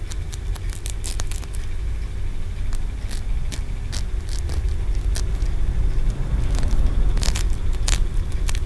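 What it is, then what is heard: Green aventurine stone pagoda. Fingernails tap and scratch the ridged tiers of a solid green aventurine stone pagoda held in the fingers. Sharp, bright clicks and short scrapes come irregularly over a steady low rumble.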